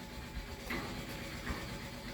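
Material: Nothing is struck.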